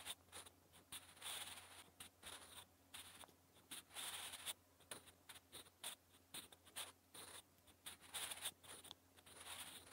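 A wooden graphite pencil scratches across the same lined paper notebook page while writing Korean text, producing bursts of bright, dry scratching with short strokes and pauses. The strokes come in quick, uneven clusters, with a faint steady low hum underneath.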